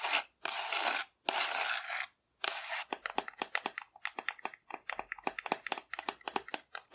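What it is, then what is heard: Hollow painted cardboard dinosaur. Long nails scratch the belly of a hollow painted cardboard dinosaur held upright, making three long, dry, hissing scrapes. A quick run of crisp, bright taps on the cardboard follows, each dying away almost at once.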